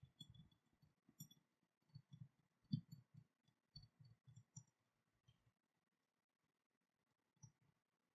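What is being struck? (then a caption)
Steel dagger with cast-metal hilt. Long nails tap the steel blade and the ornate cast-metal dragon hilt of an unsheathed dagger lying on cloth. About 14 quiet, dull taps with faint bright clicking land in uneven clusters, and each dies almost instantly. A long pause follows before one last tap.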